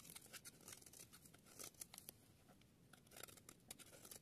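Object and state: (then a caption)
Dry soap bar being carved. A palm-sized, solid yellow bar of dry soap is held in one hand, with long dark-nailed fingertips, and shaved along its edge with a small metal blade, carving off curls and flakes. Quiet, bright, crisp scraping and cutting strokes come in a rapid, uneven series, each one short and dry with almost no ring.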